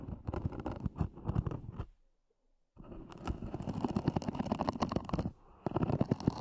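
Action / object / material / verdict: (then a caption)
scrape / EVA hard-shell earphone case with zip / EVA foam / none. Long nails scratch the lid of a small, hollow, black zippered EVA hard-shell earphone case, making dense, rapid, crackly scraping with a heavy low, hollow body. The scratching stops for nearly a second after about two seconds, then resumes steadily, dipping briefly near the end before picking up again.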